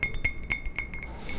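A glass mug once sold at McDonald's, still used for drinking, is tapped in a quick, light series. Each tap gives a bright, short glassy clink with a ringing tone near 2 kHz that fades almost at once, over a soft low rumble.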